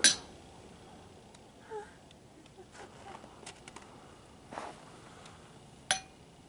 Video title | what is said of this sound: 196 Trip to the Ringing Rocks of Montana | that sounded like a ring